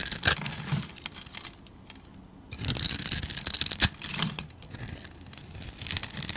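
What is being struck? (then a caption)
Bar of soap scraped with a metal blade. A metal utility blade scrapes and carves the grid-scored surface of a solid, palm-sized grey bar of soap held in the hand, shaving off small cubes and flakes. The sound is bright, crisp scraping and crackling in irregular bursts, with a near-silent pause around two seconds before a louder run of scraping and a sharp snap just before the four-second mark.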